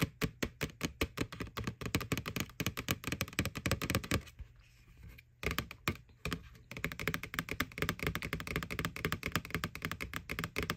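Long nails tap rapidly on the side wall of a small hollow white plastic ghost Halloween candy bucket from McDonald's, over its printed face. The taps are quick, dull and hollow, with a low body and a light bright click, and each dies away almost at once. The tapping pauses briefly about halfway through, then resumes in a steady flurry.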